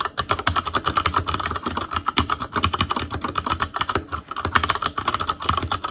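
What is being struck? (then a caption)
Mechanical keyboard with plastic keycaps. An ASUS ROG Claymore Core mechanical keyboard with Cherry MX Red switches, black plastic keycaps on a metal frame and a hollow RGB-backlit housing, is typed on continuously with the fingertips of both hands. Dense, rapid clacking keystrokes with short, dry attacks and a pronounced mid-range tone around 1.2 kHz, plus a low thud from the hollow housing beneath.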